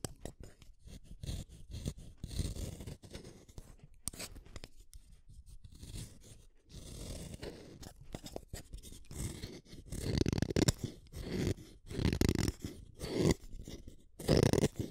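A solid purple wooden colored pencil is shaved with a small metal blade, and its purple core is scraped. Rapid, dry scraping and shaving strokes come in short bursts with brief gaps, mostly low and scratchy. The strokes grow louder and denser toward the end.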